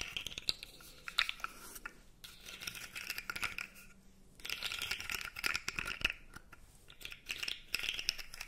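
A blue segmented plastic fidget toy, held upright, has its segments rubbed and scratched with long nails. The result is a steady stream of dry, bright clicks and scratchy rasps, bunched in bursts with a couple of brief pauses between them.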